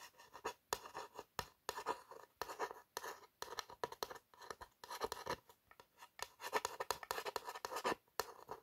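Long nails trace the embossed lettering on a tall, narrow printed cardboard perfume box (Napoleon Boss). A rapid series of short, dry scratching strokes is heard, each a brief papery rasp centred in the midrange with almost no low end. The strokes stop dead between passes with no ring.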